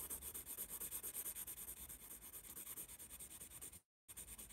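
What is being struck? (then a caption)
Graphite pencil on a paper sketchpad. A yellow wooden pencil shades and writes on a spiral-bound paper sketchpad held upright in one hand, its graphite scratching and rubbing across the sheet. Quick, uneven back-and-forth strokes make a steady bright, papery hiss. The sound cuts out briefly near the end, then the scratching resumes.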